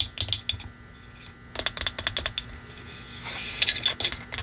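Long manicured nails tap and scratch a small, hollow, shiny plastic Christmas ornament shaped like a wrapped candy, with a red-and-white striped round center and red metallic fan-shaped ends, held in one hand. Quick, bright clicking taps come in bursts, with softer scratching in between. The taps are crisp and high with almost no low end, and each dies away almost at once.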